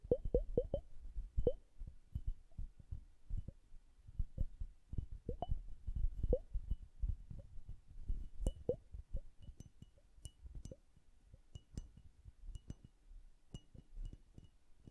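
Long acrylic nails tap the lower bulb of a hand-sized, hollow glass bubble hourglass filled with blue liquid and bubbles. The result is a quick, irregular run of soft, dull taps, many carrying a brief mid-pitched glassy ping that dies away almost at once. The taps are louder and denser at the start and grow lighter and sparser toward the end.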